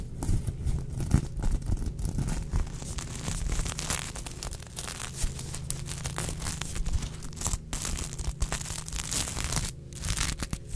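Long acrylic nails scratch and rub across the sequins of a soft, filled sequin-fabric unicorn plush. The result is a dense, continuous crackling and rasping texture with bright high-end clicks over a low steady hum. Scratching bursts rise and fall throughout.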